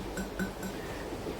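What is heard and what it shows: Three light taps on the clay inner pot of an Emily slow cooker each give a short, hollow ceramic tone around 190 Hz with faint higher overtones. A soft, low background hum continues between and after them.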